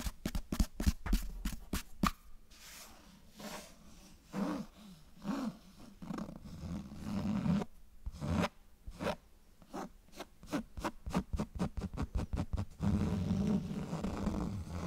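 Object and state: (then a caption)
Cloth-bound hardcover book. Fingernails scratch along the spine and cover of a closed cloth-bound hardcover book right next to the mic. Quick bursts of short, dry scratching strokes open and close the clip, with slower, longer rasping scrapes in between. The sound is close and soft, with a muffled, low-heavy texture and little high-end brightness.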